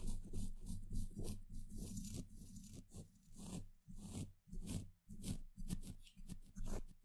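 A small pointed paintbrush dabs and brushes across the hollow steel mesh grille of a microphone head. It makes about eleven soft, scratchy, crackling strokes at an uneven pace, with a low, muffled rumble carrying most of the sound.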